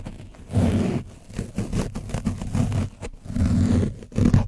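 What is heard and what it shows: A foam sponge brush on a wooden stick vigorously scratches and brushes an orange foam windscreen covered in dried paint on a black microphone, the soft, porous, hollow foam giving a close, muffled sound. The result is deep, rumbling, scraping bursts concentrated in the low end, with little brightness, swelling and fading in uneven waves.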